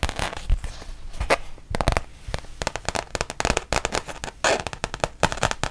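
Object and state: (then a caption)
Rubber-backed fabric mouse pad. Long painted nails tap and scratch a thin, solid, printed rubber-backed fabric mouse pad, which is first bent and then held flat. Quick, dry clicks and crackling taps come in dense bursts with short scratchy rasps between them. The sharp hits carry a low thud and fade almost instantly.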